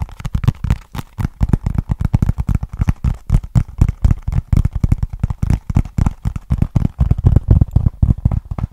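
Fingertips and nails tap and scratch on a small, flat, hollow brown cardboard box held at an angle. A fast, uneven run of dry, hollow thumps, low and dull with almost no high end, each dying away almost at once.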